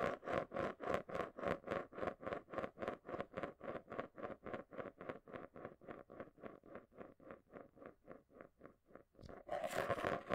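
A marble rolls around inside the base of a small, round, hollow clear plastic container held upside down in both hands. It makes a steady, rhythmic rolling scrape that repeats about three to four times per second, with a hollow tone near 560 Hz. The passes gradually fade, then a louder, brighter, continuous scrape rises at the end.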